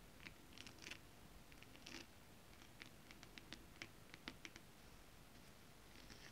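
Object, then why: Scale-printed holographic fabric. Long acrylic nails of both hands tap rapidly on flat holographic mermaid-scale printed fabric. The result is quiet, crisp, clicky taps with a bright, scratchy edge, mixed with soft brushing and scraping over a low background hiss.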